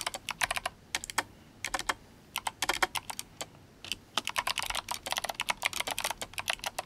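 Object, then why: Mechanical keyboard with plastic keycaps. Fingertips of both hands type on a compact, RGB-backlit GMMK Compact mechanical keyboard fitted with clicky Kailh Box White switches and plastic SA keycaps. About 36 sharp, bright clicks land in quick bursts, with short pauses near two seconds and again before the four-second mark. Each click dies away almost instantly, with energy centred around 2 kHz and almost nothing in the low end.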